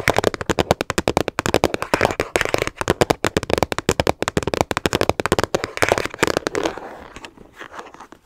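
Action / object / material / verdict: tap / hard plastic storage case / plastic / none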